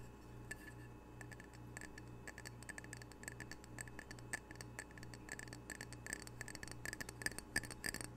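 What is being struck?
Glazed ceramic tile coaster.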